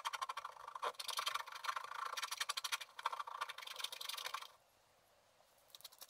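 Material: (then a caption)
Waxed paper. A wooden stylus scratches small, rapid strokes into a flat sheet of black wax-coated scratch art paper, making a dry, raspy scraping with a bright, papery edge and no low rumble. The scratching runs irregularly for about four and a half seconds, then the stylus lifts and it goes nearly silent, with a few faint light scratches near the end.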